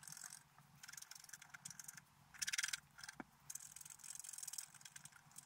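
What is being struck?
Black-coated scratch-art paper card scraped with a wooden stylus.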